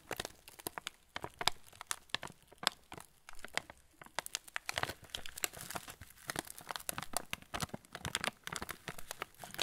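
A full yellow plastic-film TUC cracker packet is turned and squeezed by fingertips, crinkling the wrapper. Dense, bright crackles and sharp snaps come in quick irregular bursts throughout, each dying away almost instantly.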